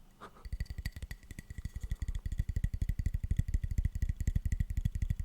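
A light softwood plank is tapped rapidly and steadily, about 40 times at roughly four taps per second. Each tap is a dull, low, hollow thud that dies away at once with no ringing, confirming the plank is a soft wood.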